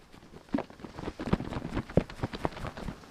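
A plastic bottle of snow foam is shaken, and its thin liquid sloshes audibly inside in a run of soft, low, wet splashes and thumps. The sloshing is normal for a fluid this thin.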